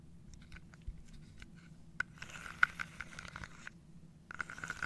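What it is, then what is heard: Wooden dominoes in a wooden box. Fingernails scratch and tap across the tops of small wooden dominoes standing on edge in an open, carved wooden box held on a lap. Soft, dry scraping runs under scattered sharp little clicks that carry a faint woody tone near 1.5 kHz. A denser rasp of scratching builds midway, then fades before a final cluster of taps.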